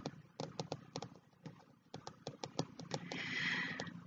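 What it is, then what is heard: Kraft cardboard-cover spiral notebook. Bare fingertips with short nails tap and patter on the brown kraft cardboard cover of a closed A5 spiral-bound notebook, which rests on top of a black hardcover diary with both hands laid on it. About fifteen quick, dull, irregular taps sound with no ring, each with a soft low thud and a light papery click. Near the end a brighter, steadier rustling swell rises under the last few taps.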